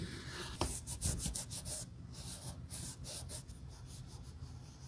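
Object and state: Patent leather boot being wiped with a cloth.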